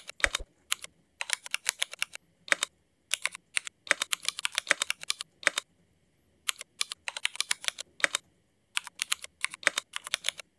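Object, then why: Mechanical keyboard with ABS plastic keycaps. Fingertip typing with both hands on a mechanical keyboard with black ABS plastic keycaps and Cherry MX switches. Quick bursts of crisp, bright clacks with very short decay are separated by brief pauses.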